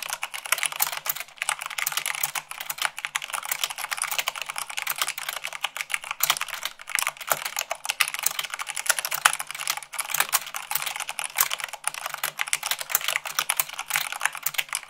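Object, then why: Plastic mechanical keyboard. Long pink nails and fingertips type fast on a full-size mechanical keyboard with white plastic keycaps on a black frame. A dense, continuous stream of short, bright, clicky keystrokes with almost no low end, each hit dying away almost instantly, fills the whole clip at a steady rapid pace.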